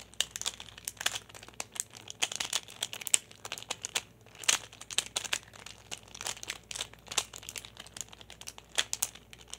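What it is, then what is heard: Plastic pyraminx puzzle. A small hand-held solid plastic pyraminx puzzle with coloured stickers is tapped and turned with fingertips and nails. It makes a fast, irregular run of about 44 sharp, bright plastic clicks and crinkly rattles with almost no low end. Each click stops dead with no ring.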